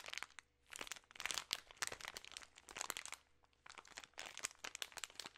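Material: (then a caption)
Plastic film. A plastic-film bag of peanut M&M's, full of candies, is crinkled and squeezed with fingertips and long nails. Dense, bright crackling and crinkling comes in bursts, with brief pauses between handling. The sound is quiet and close, with almost no low end.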